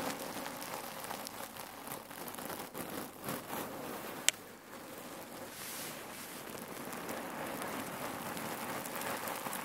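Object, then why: Cotton neck pillow filled with cherry pits. A folded red cotton neck pillow filled with cherry pits is scratched with long nails and squeezed by hands, shifting the pits inside. It makes a steady, bright crackling and rustling patter, broken by one sharp click partway through.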